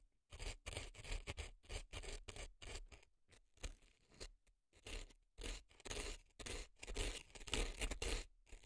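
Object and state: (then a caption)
Dry floral foam scraped. A reddish earpick scrapes dry floral foam packed into a left silicone elf ear. The result is a series of crisp, crunchy scraping strokes with bright, gritty texture and a low, close thump underneath, separated by short silences.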